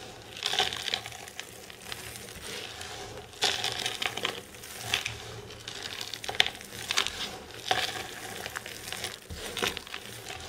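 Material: Soap.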